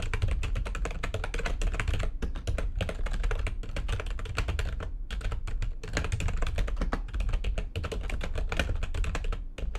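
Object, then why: Plastic computer keyboard. Fast typing with long nails and fingertips on a full-size plastic computer keyboard with white backlighting and a hollow housing. A dense, steady stream of short, clacky keystrokes pairs a low, hollow thump with bright clicks, with a few brief pauses between bursts.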